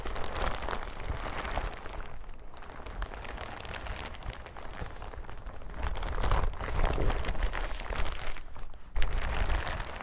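A yellow crinkly plastic hazmat suit is crumpled in the hands, then spread flat on a table and crinkled and rubbed by hand. Dense, irregular crackling and rustling runs throughout over a heavy low rumble, with brief quieter dips and louder crinkling bursts in the second half.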